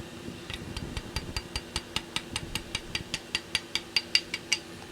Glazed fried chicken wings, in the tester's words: listen to how crispy it is